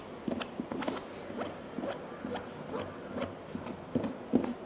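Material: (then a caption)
EVA foam. Fingertips and nails of both hands tap across the domed lid of a medium, hollow, black molded hard-shell EVA headphone case. The result is a quick, irregular patter of short, dull, hollow knocks with a low-mid body, each dying away almost at once.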